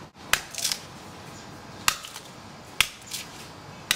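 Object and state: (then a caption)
Hard inner coconut shell reached under the husk. A blade taps on the hard inner shell of a mature brown coconut after cutting through the husk at its base. Four sharp, bright clicks stand out, with a few softer knocks between them. Each tap is very short and high-pitched, with almost no ring.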